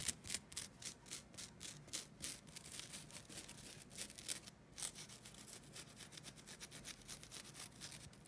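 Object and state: Nylon scouring pad being scratched.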